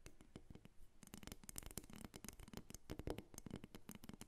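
A solid carved wooden dolphin figurine, first resting on a table and then lifted up, is tapped and scratched with long nails. Quick, dry, clicky taps with almost no ring tumble over one another in a steady, quiet flurry, mixed with brief bright scratching sounds.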